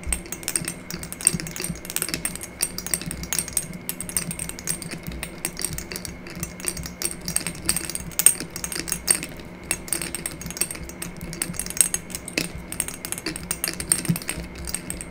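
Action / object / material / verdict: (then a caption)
tap / small glass dropper bottle with a cap / glass / none. A small amber glass bottle with a dropper cap, held in one hand, has its cap and neck tapped and scratched with long nails. Quick, dense clicks and bright, high ticks run steadily throughout over a low, constant hum.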